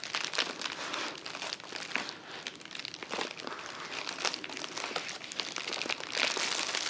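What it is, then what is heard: Plastic poly mailer bag. A filled, soft white plastic poly mailer with a shipping label is held upright on a table and squeezed and crinkled with the fingers of both hands. It makes a steady stream of dense, bright, crackly plastic crinkles with almost no low end. The crinkling swells louder near the end.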